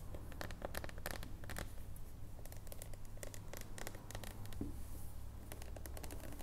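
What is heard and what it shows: Long nails tap and scratch a solid dark chocolate bar that is held on its edge and then stood upright. Quick, irregular bright ticks and scratchy strokes come in bursts over a steady low hum, each one dying away almost at once.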